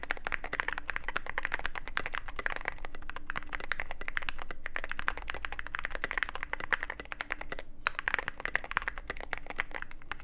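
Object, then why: Mechanical keyboard with plastic keycaps and aluminium case. Fingertips type steadily on a Cyberboard mechanical keyboard with plastic keycaps on mechanical switches and a black aluminum case. A dense, continuous run of short, crisp clacks with a bright top sounds over a faint low hum and a quiet steady tone.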